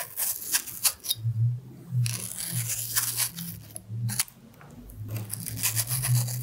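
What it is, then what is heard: Red apple being carved. A small knife scrapes and peels the skin from the side of a carved solid red apple held in one hand. Short, irregular bursts of bright, crisp scraping come and go over a steady low hum.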